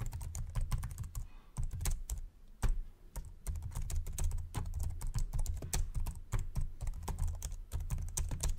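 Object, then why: Plastic laptop keyboard. Fingertips type quickly on the plastic keyboard of a white Samsung laptop, producing a dense run of short, sharp key clicks with brief bright transients. A steady low hum runs underneath throughout, and the typing pauses briefly a few times.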